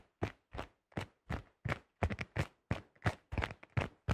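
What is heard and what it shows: Fingertips and nails tap rapidly on the thin shell of a yellow plastic disc golf disc held close to the mic. About sixteen short, dull taps land in an uneven rhythm, some in quick doubles. Each has a deep hollow thump with a faint bright click and almost no ring.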